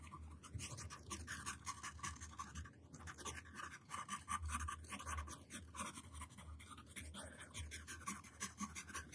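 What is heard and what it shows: A yellow wooden pencil tip scratches jagged letter strokes onto a flat white paper sheet on a table while the other hand rests on the sheet. Quick, rough scratching strokes come in bursts with short pauses, giving a dry, gritty texture with bright hiss and a low rumble underneath.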